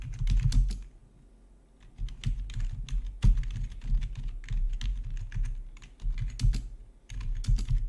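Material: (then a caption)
Plastic. Fingertips of both hands type on the keycaps of a full-size black plastic RGB gaming keyboard with rainbow backlit keys, resting on a marble-look desk. Quick clacking keystrokes come in dense bursts with short pauses between them, each with a low, thumpy body and a bright tick on top.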